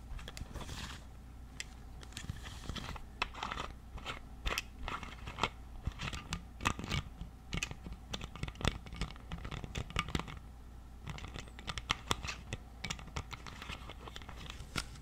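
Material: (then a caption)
Plastic. Fingernails scratch the white plastic cap and neck of a partly filled clear plastic water bottle. The result is dense, crackly scratching full of sharp, bright clicks and crunches over a steady low hum. The sound stays busy and uneven for the whole clip.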